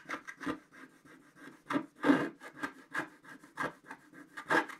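A wooden stick scrapes the black coating off a flat scratch-art paper sheet, uncovering the red body of a stocking. About a dozen short, dry scratching strokes follow one another unevenly, each a gritty rasp with a faint low tone and brief papery hiss. Some strokes land louder and longer than others.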